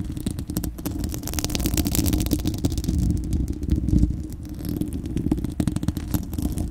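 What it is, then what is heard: Metal mesh microphone grille being scratched. Long acrylic nails of both hands scratch a bare, hollow, fist-sized spherical steel wire-mesh microphone grille. The result is a dense, continuous rumbling crackle, heavy in the low end with a deep hum near 82 Hz, speckled with rapid scratchy ticks and faint bright hiss. The level swells and dips over the clip.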